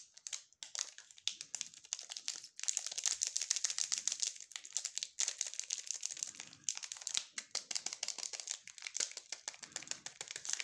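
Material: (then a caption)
Plastic. Gloved fingertips hold and crinkle a small, sealed Furor chocolate bar in its red glossy plastic wrapper, with the bar still inside. Dense, bright crackling and rustling runs for about ten seconds in rapid bursts, with a few brief pauses. There is almost no low end, and each crackle snaps off instantly.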